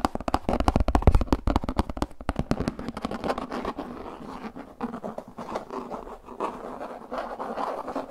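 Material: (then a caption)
Plastic. Fingertips and nails scratch and tap the flat face of a translucent plastic frisbee disc held face-on. Quick, dense taps with a low, hollow thump come first, then ease into softer, irregular scratching and rubbing. The sound stays dull and muffled, with almost no bright edge.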